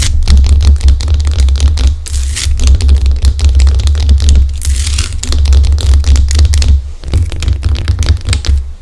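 Long acrylic nails on both hands scratch and tap the rough top of a large, solid pink Himalayan rock-salt lamp. Dense, rapid clicking taps mix with brighter scratchy bursts, all over a steady deep hum near 66 Hz that stays loud throughout.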